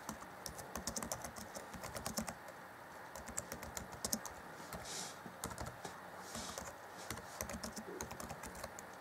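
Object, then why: Plastic laptop keyboard keys. Fingertips of both hands type on the black plastic chiclet keys of an Acer Chromebook C20 (2014) laptop keyboard. A steady run of quick, light plastic clicks and taps is heard, with brief soft hissy swells around the middle.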